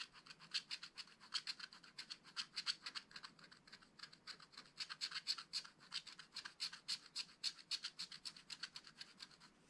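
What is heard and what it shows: A wooden stylus scratches fine hatching into the black coating of a flat card in a spiral-bound scratch-art pad. The result is a rapid, uneven run of short, dry, bright scraping strokes, about three to four per second, with a high hiss and almost nothing in the low end.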